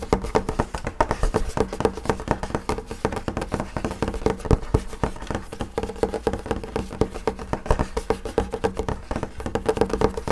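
Fingertips and nails of both hands tap rapidly on the flat top of a wood-grain school desk, a large solid panel of wood or laminate. A steady stream of quick, dry taps with dull, low knocks and almost no ring runs throughout, with little bright content.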